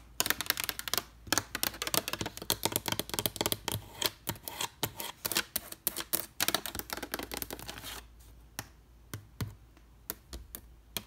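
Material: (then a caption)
Wood. Long red nails rapidly tap and scratch the lid of a large, weathered wooden trunk with metal studs and rivets, with a black cable lying across it. Dense, bright, dry clicks and scratches fill the first eight seconds, then thin out to sparser taps over a faint, steady low hum.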